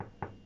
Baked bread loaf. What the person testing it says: giving it a little knock on the bottom and if it sounds hollow that means it's cooked all the way through